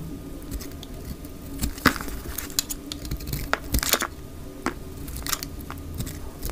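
A solid, oval, dry light green bar of soap held in the hand is shaved into thick strips with a utility knife blade. The result is a steady run of short, dry scraping and crisp crackling cuts with bright, brief transients over a soft, low background.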